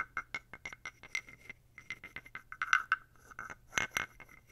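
A thin wooden stick is scraped along the ridged back of a small, dark, solid carved wooden toad figurine close to the mic. It makes a quick series of short, dry clicking rasps with a hollow, croak-like tone around 1.5 kHz and a bright edge. About twenty strokes come in an uneven rhythm, with the loudest bursts near the middle and the end.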